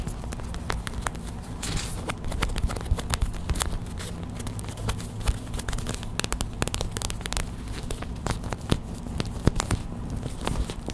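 A small clear plastic hot/cold pack filled with white gel beads is held, squeezed and tapped with long white acrylic nails. Quick, dry clicks and crackles sit over a steady low hum. The tapping runs as a dense, fast, uneven patter throughout.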